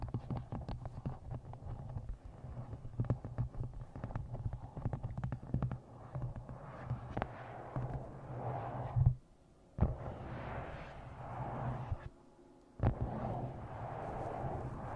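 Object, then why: Paperback book, paper and card. Fingernails tap rapidly along the top edge of a paperback book, then scratch and tap across its glossy cover, producing dull, muffled clicks over a steady low hum. The tapping gives way to softer rasping scratches, broken by two brief near-silent pauses before each resumes.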